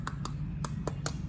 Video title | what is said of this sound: Crispy Pork Belly Burnt Ends by David Ong | you want that to sound hollow